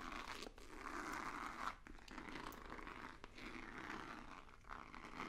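A hollow, rigid white cardboard box with a black stripe is tapped and scratched with fingertips and nails. It produces a soft, continuous crinkly scraping with a rasp centered in the midrange and faint bright edges, plus brief dips between strokes.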